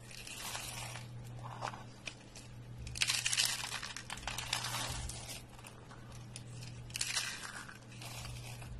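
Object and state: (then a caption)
Dry soap curls, crunchy and dry. A hand grabs rolled, thin, dry pale green soap spirals and flakes and crushes them in a fist. Dense, bright crackling crunches build into louder bursts around three and seven seconds, over a steady low hum.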